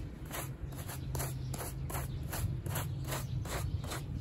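A gloved hand scrubs a small, wet, foamy, fringed woven rug lying on a plastic sheet with a handheld stiff-bristle brush to clean off mud. Rhythmic, bright, scratchy rubbing strokes repeat steadily over a constant low rumble.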